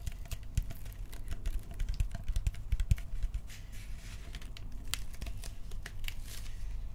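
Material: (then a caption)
Plastic. Fingertips tap and scratch the body and barrel of a hand-sized, hollow hard plastic toy prop blaster as it is turned in the hands. Quick, irregular, dry clicking taps mix with soft scratchy rustling over a low, dull thump, each tap dying away almost instantly.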